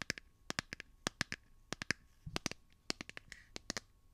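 A hand-sized smartphone in a solid light blue plastic or silicone case is held in one hand while fingernails tap and scratch the back of the case. About twenty quick, crisp, bright clicks come in uneven bursts with faint scratchy rustles between them, each tap dying away almost instantly.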